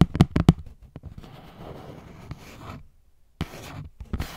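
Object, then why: Cardboard box with plastic window. Long nails tap an opened, hollow cardboard box with a clear plastic window holding a gold phone case. A quick run of sharp, low, dry taps opens the clip, followed by soft scratching and rustling, a brief silence, then more rustling with a few final taps.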